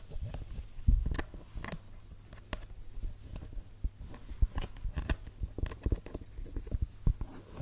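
Long red nails tap and scratch along the suede upper of a single red suede stiletto pump with a black sole, the hollow shoe held in hand. A quick, uneven run of soft, dull taps with brief scratchy swipes comes through, mostly low and muffled with almost no ring.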